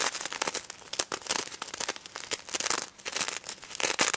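Long red nails scratch and flip the plastic sequins on a pink stuffed plush pig toy up close. The result is a dense, bright crinkling rattle of rapid, short clicks with no low end, swelling and fading in uneven bursts.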